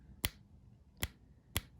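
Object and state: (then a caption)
Fake gold-plated tungsten coin, no ping. A counterfeit gold-plated tungsten Maple coin is tapped three times, each tap giving a short, dull click with a low thud and a bright edge that dies away almost instantly. There is no ringing ping at all, so the coin fails the ping test.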